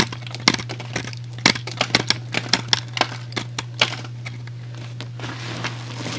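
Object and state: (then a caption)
Soap cube being cut. A utility knife blade slices and scrapes a small solid white soap cube held between fingertips. It produces a series of sharp, bright cracking and crinkling snaps over a steady low hum, with the loudest cuts clustered through the middle and softer scraping toward the end.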